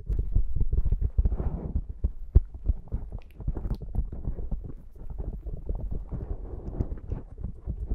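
Long nails of both hands scratch and tap the top of a black foam windscreen on a Zoom microphone. The result is a fast, irregular stream of soft, muffled, deep thumps with brushy scratching between them, all low and dull with no bright edge, and one sharper knock just past the two-second mark.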